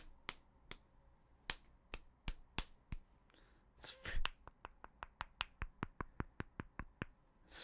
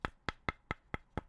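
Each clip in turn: First: solid, dense keycap. Second: hollow-sounding plastic keycap.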